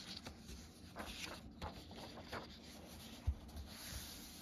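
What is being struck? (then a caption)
Paper book pages. Paperback-style paper pages in an open hardcover book are flipped while fingertips rub and smooth the paper. Quiet, airy swishes and brushing rustles repeat over a soft low rumble, with a few brief, slightly louder taps as the pages settle.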